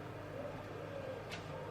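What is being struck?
Nothing is struck.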